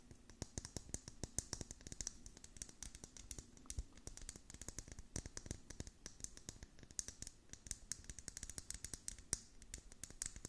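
Long nails rapidly tap and scratch the hollow, curved dome lid of a clear plastic cup filled with beads. The result is a dense stream of sharp, bright plastic clicks with soft low knocks underneath, each tap dying away almost instantly.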